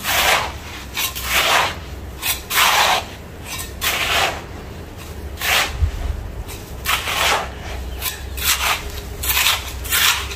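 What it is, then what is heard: Damp sand-cement mix being scraped and rubbed. Bare fingertips and hands dig into, scoop and rub a large, loose heap of gritty, damp, grey-brown sand and cement mix, mixing and scratching the crumbly mass. Repeated bright, gritty rasping scrapes come in irregular bursts over a low, steady rumble.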